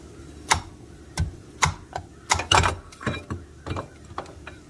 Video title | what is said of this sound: Reduction Boss 40% Gear Reduction Installation // Helpful Hints and Tricks// From The Man Himself! | as you tap it into place you'll hear it when it bottoms out